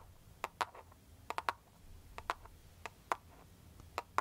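Long foil-covered pointed nail tips tap and scratch a clear plastic cartoon-print case on a smartphone held near the face. Eleven sharp, dry clicks, sometimes in quick pairs, centre around 1 kHz with a bright edge and die away almost instantly. Faint scratching and a low hum fill the gaps between them.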